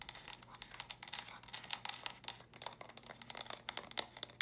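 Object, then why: Small plastic stacking brick storage box. Long nails tap and scratch quickly on small hollow plastic stacking brick storage boxes, turned to show their studded purple tops. The result is a rapid, uneven stream of crisp, bright clicks and scratchy crinkles with almost no low end. Each hit dies away instantly.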